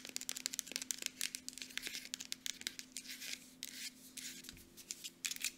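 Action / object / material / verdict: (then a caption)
tap / small plastic lotion bottle with cap / plastic / none. Long nails tap quickly on a small Aveeno plastic lotion bottle, striking both the bottle's body and its mint plastic cap. The result is a quiet, rapid run of dry, bright clicks and short scratchy rustles with almost no ring, over a faint steady low hum.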